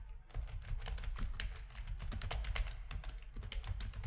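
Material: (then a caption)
Plastic. Fingertips of both hands type steadily on a full-size black plastic RGB-backlit keyboard with a hollow plastic housing, resting on a desk. The quick, clacky key presses each give a short, dry click with a low, hollow thump underneath and bright tops, and they run together into a continuous patter.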